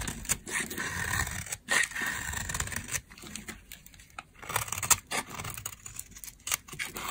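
A metal blade carves and scrapes dry shavings off a solid, dry peach soap bar, now thinner, held in the hand. Crisp, bright scraping and crackling strokes come in irregular bursts, each one short and dry with almost no ring, separated by brief quiet gaps.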